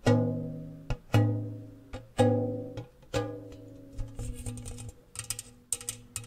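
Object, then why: Round metal biscuit tin. Fingernails and fingertips tap fast on the walls of an open, empty, medium-size round metal gingersnap tin, held hollow side toward the mic and partly covering it. Strong taps ring out with a deep boom and a resonant metallic tone that slowly fades, then quicker, lighter taps add bright clicks over a low hum.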